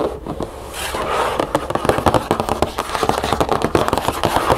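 Long acrylic nails on both hands tap and scratch the back panel of a hollow cardboard cereal box standing on a table. A soft scratchy rustle opens the clip, then about two dozen quick, dry, hollow clicks and taps follow, each dying away almost at once.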